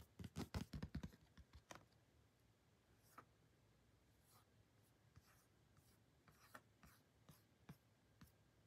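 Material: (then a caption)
Cardboard. A thin, flat, glossy printed cardboard photo card is held in the hands while long painted nails scratch and tap its surface and edges. A quick burst of dense, crisp clicks in the first second gives way to soft, scattered, dry taps and light scratches over quiet background hiss.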